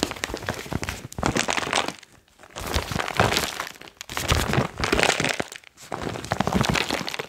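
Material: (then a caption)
Foil plastic. A foil-lined plastic chalk pouch is held up, brought down to the mic and crinkled by fingertips. It gives dense, bright crackling and crinkling in four bursts separated by short quiet pauses.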